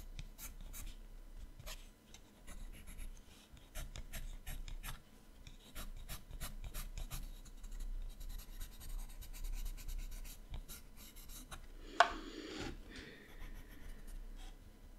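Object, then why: Coloured pencil on a paper sketchbook page. A yellow colored pencil colors hair on the right page of an open paper sketchbook, rubbing across the paper in a quiet run of short, scratchy strokes with soft low rumble underneath. Near the end, one sharp click stands out, followed by a brief brighter scraping swish.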